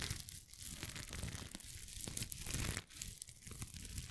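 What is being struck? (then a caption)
Rhinestone mesh face mask. A small, flexible rainbow rhinestone mesh face mask, folded and held in one hand close to the microphone, is scratched and rubbed with long acrylic nails. The result is a steady, crinkly, glittery rustle with a low rumble underneath and bright, sparkly ticks on top, dipping briefly about halfway and near the three-second mark.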